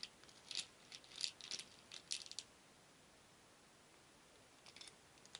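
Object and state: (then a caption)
Wooden beads rattling in a wooden bowl. A wooden spoon stirs many small painted wooden beads in a shallow wooden bowl, so they rattle against each other and the bowl. Quiet, bright, dry clicking rattles come in short, irregular bursts over the first two and a half seconds, then fall nearly silent before a few faint clicks near the end.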